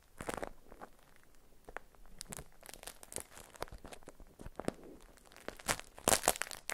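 A stiff, printed beeswax-coated cotton food wrap is unfolded and crinkled by fingers with long nails. The result is a dense run of dry crackles, crunches and tearing-like rustles with sharp, bright transients over a low, quiet background. The bursts grow louder toward the end.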